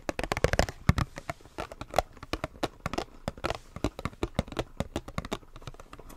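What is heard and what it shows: A small retail blister pack, a hollow clear plastic shell on a white printed card, is held in both hands and tapped and scratched with fingertips and nails. About 34 quick, dry taps and clicks with a soft hollow thump come in uneven bursts, each dying away almost instantly, with faint scratching between them.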